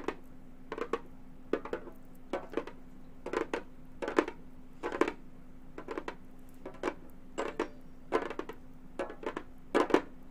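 Long gold metal finger claws tap quickly on a hollow, round Remo frame drum with a synthetic head. The taps come in short clustered bursts spread across the clip. Each is a quiet, dry click with a faint hollow body around 375 Hz and a bright edge, dying out almost at once over a steady low hum.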